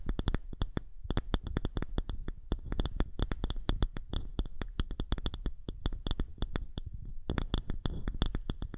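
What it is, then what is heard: Wooden disc scratched with nails. A small, thick, round polished wooden disc held over the microphone is scratched with the long nails of both hands. The result is a rapid, continuous stream of dry scratching clicks with a deep, close thumping body and bright, crisp ticks on top.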